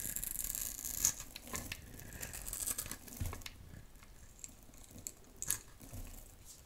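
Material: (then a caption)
Soap. A metal utility knife blade scrapes a solid, rectangular, dry pale pink soap bar held in the hand, sending fine shavings falling. The sound is a bright, crisp scraping and crinkling, with irregular little scratches and a few sharper catches of the blade. It stays quiet and dry, with almost no ring after each stroke.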